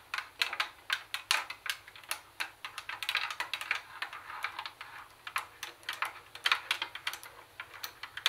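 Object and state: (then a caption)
Plastic CD cassette boombox. Long nails tap rapidly on the cassette deck buttons and plastic lid of a grey-black plastic CD cassette boombox. The result is a quick, uneven run of dry, bright, clicky plastic taps with almost no low end. Each tap dies away almost instantly.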